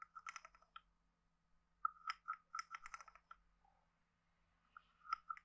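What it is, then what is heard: Wooden frog guiro. A hand-sized, hollow carved wooden frog guiro is played with a wooden stick, tapped on the head and scraped along its ridges. The result is quiet, dry clicking and ratcheting in short bursts with a hollow tone centered near 1.3 kHz. Brief bright scrape noise decays almost instantly.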